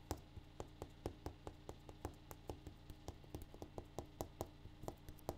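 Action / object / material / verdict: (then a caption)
tap / granite countertop / granite / none. A granite countertop is tapped in a steady, even rhythm, giving 24 quick, dry taps, each with a short bright click and almost no ring. A low, constant hum sits underneath the taps throughout.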